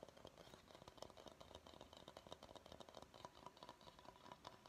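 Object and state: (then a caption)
Bamboo bowl. Fingernails of both hands tap and scratch the outer base of a medium, empty bamboo bowl. The result is a quiet, steady stream of quick, dry, woody clicks mixed with light scratching, with a hollow tone near 600 Hz and a bright edge. Each tap dies away almost at once.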